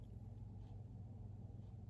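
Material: Nothing is struck.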